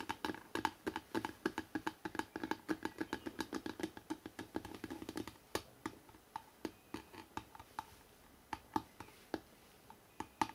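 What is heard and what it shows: Fingertips tap quickly and lightly scratch the front cover of a hardcover book, making dense, dry, clicky taps over a soft scratchy rustle for about the first five seconds. The tapping then slows into sparser, sharper single taps with a hollow knock around 880 Hz, each dying away almost instantly.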